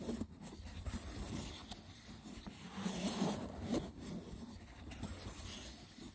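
Fingertips with short nails scratch the braided top of a small, hollow, rectangular woven wicker box with a lid. The result is a rough, dry, crackling rustle with a low hollow body under it. Brief louder scrapes rise out of it before it settles back to a steady scratching.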